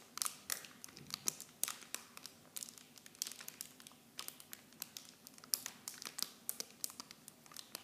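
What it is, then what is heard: Plastic film packaging being crinkled. Fingertips squeeze and crinkle the clear plastic film packaging of a miniature shampoo set. The result is a steady run of quiet, bright, dry crackles and snaps with almost no low end, each dying away instantly.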